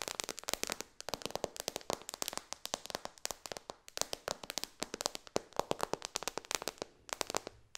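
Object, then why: Glass tablet touchscreen. Long dark fingernails on both hands tap rapidly on the solid glass touchscreen of a white-bezel iPad lying flat. About 53 sharp, bright clicks come in a quick, uneven stream, each dying away almost instantly with almost no low end.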